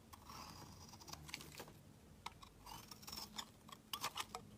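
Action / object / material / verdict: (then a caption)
scrape / bar of soap scraped by a metal blade / soap / none. A palm-sized, solid blue bar of soap, held in one hand over a woven mat, is shaved and scraped with a metal utility-knife blade, leaving flakes and curls of soap piled beside it. Quiet, bright, crisp scraping strokes mix with short dry clicks that die away at once, with a steady tone around 1.2 kHz.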